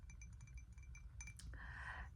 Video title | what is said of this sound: ASMR: tapping on ceramics and rambling (lofi, soft spoken) | It has a different tone.